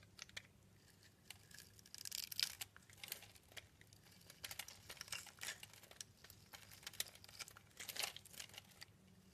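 A yellow-handled utility blade cuts a solid, translucent, palm-sized orange rectangular bar of soap, held in the hand, into small cubes. Quiet, bright, crisp scraping and crackling cuts come in quick bursts, each dying away almost at once.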